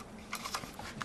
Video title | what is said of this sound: Arctic M571 | on a des petits bruits assez bizarres